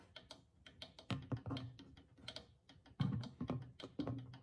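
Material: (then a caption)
Clay, goatskin. A small hollow clay drum with a stretched goatskin head, held in one hand, is tapped and drummed on the skin with the fingertips and long nails of the other hand. Quick, light, irregular taps carry a soft papery click over a low, hollow thump, with a few harder strikes that boom deeper. Each note dies away almost at once.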